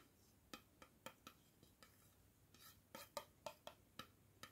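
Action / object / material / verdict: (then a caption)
tap / plastic screw-top jar lid / plastic / none. A round, hollow black plastic screw-top jar lid with a white inner liner is held in one hand and tapped with a fingertip and nail, first on the inner liner, then handled and tapped on the outer rim. Twelve quiet, sharp, hollow taps come at an uneven pace, each a brief click with a faint mid-pitched ring that dies almost at once.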